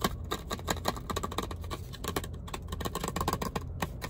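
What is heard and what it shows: A toothbrush in a long, narrow, hollow clear plastic blister on a cardboard backing is tapped and scratched with fingertips and nails. The result is a rapid run of short, dry clicks and crinkly scrapes with a low thuddy body under them.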